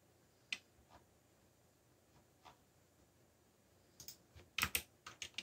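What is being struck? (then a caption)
Plastic mechanical keyboard keys. Fingertips slowly press keys on a backlit black plastic mechanical keyboard. A few sparse, bright clacks with almost no ring come first, followed by a quicker cluster of sharper presses near the end over a quiet background.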